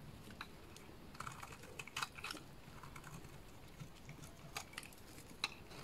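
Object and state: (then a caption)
Bar soap being cut into flakes. A small blade cuts chunky flakes off the face of a solid lilac soap bar. Quiet, dry, crisp snicks and scrapes come in irregular bursts over a low steady hiss. The sharpest cuts stand out briefly and stop dead, with no ring.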